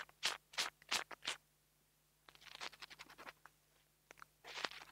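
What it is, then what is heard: Metal tool scratching a mini microphone grille. A metal nail tool tip scratches the metal grille on top of a small black plastic mini lavalier microphone held in the fingers. Five short, bright scratches come first, then a brief silence, a denser run of quick, crisp scrapes, and a final longer scratching burst. The scratches are dry and close, with almost no low end and no ring after each stroke.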